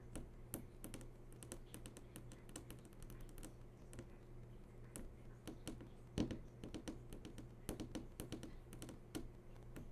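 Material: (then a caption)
Glass. Several long nails tap in a quick, fluttering pattern on the glossy screen of a large flat-screen TV that is switched on. Soft, short clicks come in irregular bursts over a steady low hum, and the overall level stays quiet.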